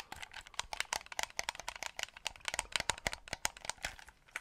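Fingertips press the buttons and tap the casing of a white hollow plastic game controller held close to the mic. The result is a quick, uneven run of sharp, dry clicks and light taps with a bright, crisp tone, little low end and almost no ring.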